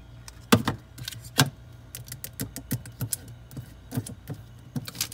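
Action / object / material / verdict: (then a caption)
tap / chocolate bar in a plastic wrapper / plastic wrapper / none. A king-size KitKat chocolate bar in a red plastic wrapper, solid and full, lies on a fridge shelf and is tapped and scratched with long red nails and fingertips, first on the front and then on the back. About seventeen short, dry taps and crinkly scratches land at an uneven pace, each pairing a soft low thud with a bright plastic rustle that dies away almost at once.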